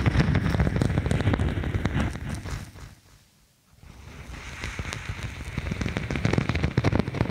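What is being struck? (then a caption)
Thin faux snakeskin vinyl sheet. Long nails scratch the textured printed top of a thin faux snakeskin sheet of vinyl or faux leather, curved over the microphone with its lighter backing showing. The result is a dense, crackly, rain-like scratching with a heavy low rumble that fades to near silence around three seconds in, then builds back up.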